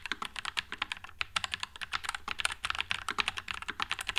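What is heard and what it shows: Continuous fingertip typing on a white low-profile Nuphy Air96 mechanical keyboard with Wisteria switches and plastic keycaps. It produces a rapid, steady stream of short, bright clacks that stop dead with no ring, and very little low end.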